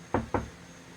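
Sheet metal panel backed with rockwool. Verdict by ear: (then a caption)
Dead. A van's sheet metal panel with rockwool insulation behind it is knocked twice, giving two short, dull thuds. The panel barely rings, sounding dead compared with how it sounded before it was insulated.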